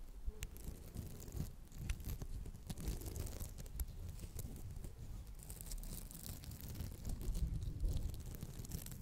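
Long acrylic nails scratch the textured surface of a round, palm-sized red polymer foam smiley sponge held in both hands. The result is a steady, close, low-heavy scratching and crinkling with frequent sharp clicks and bright tearing edges. It swells slightly louder toward the end of the nine seconds.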